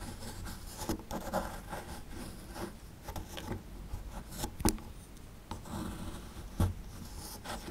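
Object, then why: Small plaster block scraped with a metal pick. A small, solid plaster block from a dinosaur excavation kit, held in one hand, is scraped and chipped with a small metal pick-style tool to expose a toy skeleton. Quiet, dry, gritty rasping and scratching runs throughout, broken by a few sharper, brief chipping clicks that die away almost instantly.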